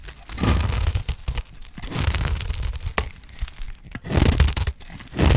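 A solid, dry green soap bar held in hand is shaved into curls with a utility knife blade. Repeated rough, crackly scraping strokes rise and fall over several seconds, each carrying a deep low rumble with a bright, gritty edge.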